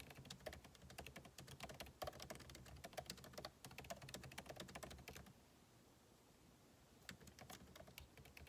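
Two hands type with their fingertips on a backlit MacBook Pro laptop keyboard, its plastic keycaps set in a hollow aluminum case. A rapid stream of short, dry key taps, each a light click over a soft low thud, runs for about five seconds. It stops for a near-silent pause, then the tapping resumes more sparsely.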